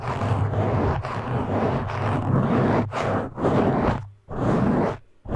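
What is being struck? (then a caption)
Foam microphone windscreen. Fingertips of both hands grip and scratch a black foam windscreen on a microphone, producing a loud, dense, crackling rustle with a deep, boomy rumble underneath. The scratching runs almost continuously, then breaks into shorter bursts with near-silent gaps toward the end.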